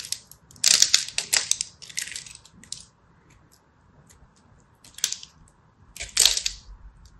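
A small black blade scratches and cracks flakes off the edge of a hand-held purple and white striped solid soap bar that has already been scored in a grid pattern. Short bursts of bright, dry crackling and crisp scraping come in clusters separated by quiet pauses, each crack snapping off sharply with almost no low end.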